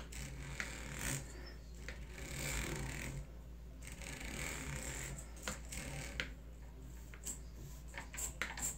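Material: Metal.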